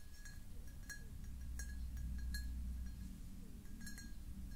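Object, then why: Pressed glass jar. Long nails tap and scratch the ribbed sides and star-cut base of a medium-sized, hollow, empty clear pressed-glass jar as it is held and turned in the hands. Light, irregular glassy clinks with a brief bright ring sit over a steady low rumble, each tap dying away quickly.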